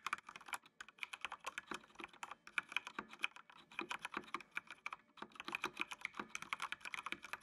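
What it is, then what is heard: Plastic mechanical keyboard. Fingertips type steadily on a full-size black plastic mechanical computer keyboard with RGB backlight. Rapid, dry key clacks with bright, short, crisp attacks pour out in quick bursts with brief pauses, and each press dies away almost instantly.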